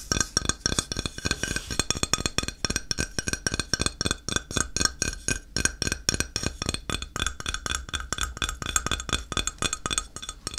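A flat, solid grey ceramic tile, held on edge, is tapped and scratched along its edge with fingertips and nails. The result is a continuous run of quick, dry clicking taps with bright, glassy clinks and almost no ring, mixed with scratching textures.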